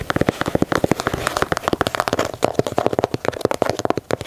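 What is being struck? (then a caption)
Leather sneaker. Fingernails scratch and tap along the stitched leather panels and swoosh of an empty black and white leather Nike Dunk sneaker held in hand. A rapid run of short, dry, crisp scratches and taps, each dying away almost instantly, with bright, rustling texture.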